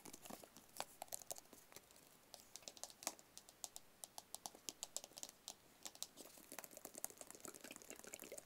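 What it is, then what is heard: Small cardboard box. A small, hollow white cardboard product box is held close and tapped rapidly with fingertips and nails. The result is a fast stream of dry, crisp, clicky taps with almost no ring or low end, rising to denser bursts at the start and end.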